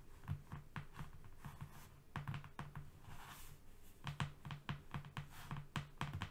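Fingernails of both hands rapidly tap and scratch a flat brown cardboard strip lying on a rug. The result is a quick, uneven run of soft, dull, low taps that die away almost instantly, with brief papery scratching in between.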